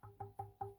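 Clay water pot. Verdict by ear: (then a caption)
Sound. A 50-year-old clay water pot, which survived an animal knocking it against a post, is tapped four times in quick succession, with a fifth tap starting as the clip ends. Each tap gives a short, ringing, metallic tone pitched around 395 Hz with a low thump. The metal-like ring shows the pot is still strong and intact.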